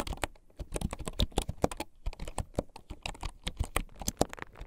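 Fingertips of both hands rapidly tap the wooden keycaps of a full-size keyboard with a hollow bamboo or wood case lying on a desk. The typing makes a quick, uneven stream of short, dry, hollow clacks with a deep, woody thump and very little ring.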